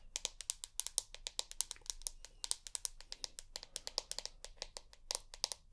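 Long nails tap rapidly on the glass back of a rose gold iPhone held close by the ear, making about 38 quick, quiet clicks. Each tap is a sharp, bright tick with almost no ring, arriving in uneven bursts over a faint low hum.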